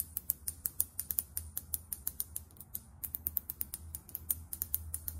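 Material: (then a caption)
Plastic. Long acrylic nails tap quickly on a small, filled foundation bottle and its plastic cap, making a rapid run of about thirty sharp, bright clicks over five seconds. Each click dies away almost instantly over a faint low hum.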